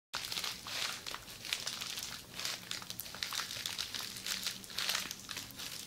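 Long red acrylic nails scratch and tap along a roll of red plastic bubble wrap held in the hand as a hollow tube. A steady bright crinkling and scratching rises and falls in waves, with quick crisp taps mixed in.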